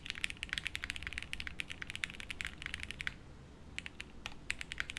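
A 60% plateless mechanical keyboard with beige doubleshot plastic keycaps in a light case, resting on a felt desk mat, is typed on continuously with the fingertips of both hands. The result is a dense run of short, dry, bright clacks centred around 2.6 kHz over a soft low rumble. The typing briefly pauses after about three seconds before resuming.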